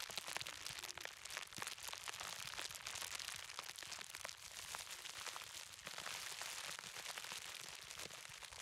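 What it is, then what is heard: Plastic bubble wrap being popped. Fingertips press and pop bubbles on a large, clear plastic bubble wrap roll held upright. A dense, steady stream of sharp, bright cracks and crackles runs throughout at a soft level, with almost no low end.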